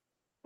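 A single knock on a wooden object, such as a wooden door or table. It is a short, dull, mid-pitched thud with almost no ring, heard after a stretch of quiet.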